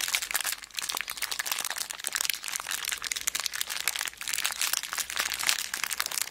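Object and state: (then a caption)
Plastic zip bag full of beads. A small clear plastic zip bag full of beads is squeezed and scratched with long black nails. It makes dense, bright crinkling and crunching with many quick, sharp ticks of plastic and shifting beads. The sound runs steadily throughout, with almost no low end.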